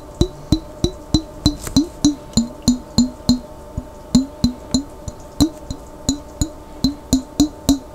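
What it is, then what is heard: Glass jar with water tapped. A glass jar containing water is tapped repeatedly in a steady, continuous run of about 23 quick taps. Each tap gives a short resonant, pitched knock with a bright click on top and a brief ring that fades quickly.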